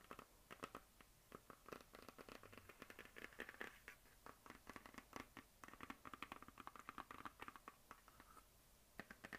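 A medium hollow plastic map globe on a stand is scratched and tapped with long nails and fingertips. The result is a quiet, dense run of short, dry scratches and clicks with a hollow plastic tone around 1.2 kHz and bright edges. Each hit dies away almost at once.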